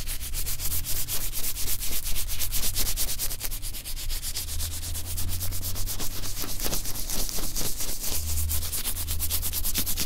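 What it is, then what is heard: Oiled nitrile gloves rubbing. Two hands in thin blue nitrile gloves, slick with oil, rub and slide against each other over a white table, with no other object handled. A steady run of quick, slightly irregular wet, squishy rubbing strokes, about two per second, carries bright, hissy edges over a faint low hum for the whole clip.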